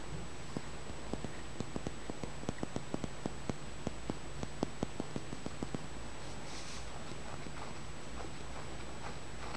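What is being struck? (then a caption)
Small polished green stone. A small, solid, smooth green tumbled stone, likely aventurine, held in the fingers over a towel, is tapped and scratched with the fingertips and nails. A run of light, sharp clicks is heard over a steady low hum, then fades into softer scratching and rustling.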